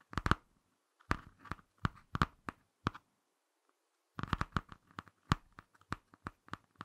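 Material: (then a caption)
Cardboard. Fingertips and short nails scratch and tap the laminated cardboard front cover of a small, closed Ladybird hardcover picture book. Short, dry clicks with a low thump and a papery midrange come in two quick bursts separated by a brief silence.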